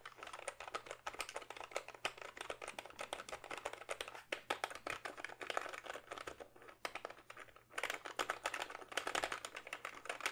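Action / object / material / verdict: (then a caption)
tap / plastic membrane keyboard / plastic / none. Fingertips type quickly on a full-size plastic backlit membrane gaming keyboard held upright, producing a dense stream of short, dry, clacky keystrokes with bright edges over a faint low hum. The typing briefly quiets around the seven-and-a-half-second mark, then resumes at a brisk pace to the end.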